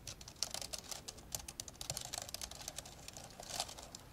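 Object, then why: Plastic laptop keyboard. Fast two-handed fingertip typing on the plastic keys of an old dark grey plastic laptop lying open. The clip is a quick, steady run of short, dry, bright clicks with a few louder taps standing out.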